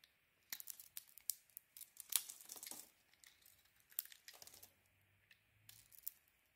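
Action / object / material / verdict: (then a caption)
scrape / soap bar shaved with a metal blade / soap / none. A solid red Nivea soap bar with a white core is held in the hand and shaved with a metal blade into curls. Quiet, bright, crisp scraping and crackling bursts come in quick uneven runs, like thin tearing. A faint low hum sits under the later strokes.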